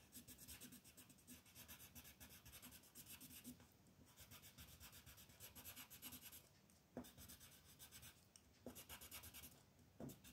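A peach colored pencil is rubbed in short, rapid strokes across a flat white paper sheet printed with a mandala outline, coloring it in. The result is a soft, continuous scratching and rasping with a bright, hissy edge, broken by a few sharper ticks near the end.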